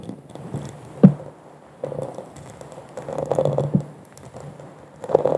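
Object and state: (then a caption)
Textured glass goblet. Long nails and fingertips tap on the bowl of a hollow, empty, bubble-textured glass wine goblet held upside down over a microphone. The result is a scattered run of soft, muffled clicks and patters with a low resonance, broken by a few sharper taps.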